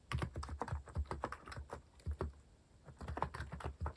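Fingertips type quickly and continuously on a compact white-cased mechanical keyboard fitted with plastic cat-themed keycaps. The keys give short, deep, muted clacks in rapid bursts, with a brief pause midway before the typing resumes.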